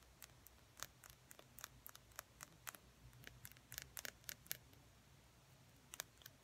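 A small, slim, hollow plastic lip gloss tube with a silver metallic cap is held in both hands and tapped and scratched along its length with fingernails. The result is a quiet, irregular run of sharp, bright, dry clicks with no ring, some coming in quick clusters, over a faint low background hum.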